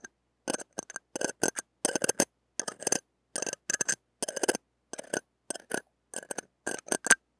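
The tip of a stainless steel ear pick scratches and taps the steel mesh and ring of a small, hollow metal-mesh mini microphone head. Short bursts of bright, scratchy clicking and rasping come in quick clusters, with a faint metallic tone near 1.5 kHz. Each burst stops almost at once with very little ring.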